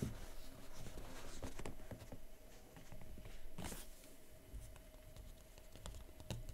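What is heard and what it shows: Fingertips and painted nails tap rapidly on the top of a large, flat, rigid white coated paperboard MateBook retail box, closed with the laptop inside. The result is a quick, uneven patter of soft, dull taps with light clicky edges that die away almost at once, mostly low in tone, over a faint steady hum.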